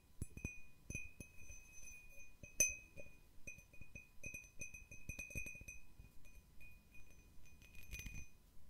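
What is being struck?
Cut crystal glass bowl.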